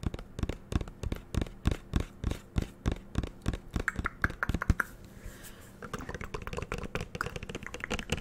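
Fingernails tap and click on the black cap and body of a green plastic shower gel bottle. A quick, uneven run of short, dull, hollow taps is followed by a brief pause, then faster, lighter clicking. Each tap dies away almost instantly.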